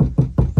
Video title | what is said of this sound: How To Fix Hollow Sounding Car Doors BFS ep. 3 | it sounds much more like a car door and less like a piece of sheet metal